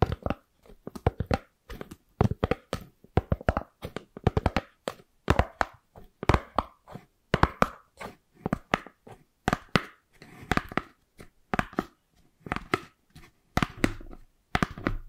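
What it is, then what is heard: Styrofoam plate. Long purple acrylic nails scratch and tap a white round styrofoam plate with a radial pattern, held to the right of the microphone. Dozens of short, dry taps and scratchy rubbing bursts come in quick, uneven clusters. Each one is dull and low-heavy and dies away almost at once.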